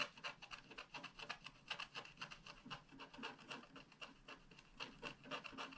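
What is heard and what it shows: A wooden stylus scratches rapidly across a flat sheet of scratch art paper near its bottom left corner. The result is a quiet, dry, bright rasping of short, quick strokes in an uneven rhythm, with a steady tone near 2.7 kHz running through the scratches.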